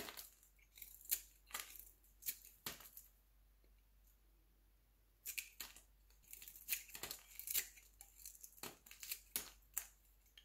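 A metal utility knife blade scrapes and carves thin slices from a translucent, pale yellow, round, palm-sized solid glycerin soap bar held in the hand. Quick, bright, crisp scraping strokes come in bursts, with a quiet pause in the middle before the rapid shaving resumes.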